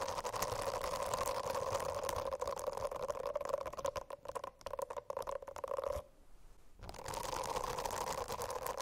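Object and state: Silicone bristle notebook cover.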